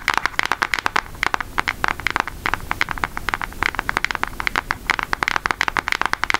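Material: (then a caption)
Cardboard. Long nails tap rapidly on the back of a brown Hershey cardboard eyeshadow palette, which is then opened. The result is a steady run of dry, crisp clicks with a bright upper edge and no ring, over a faint low background hiss.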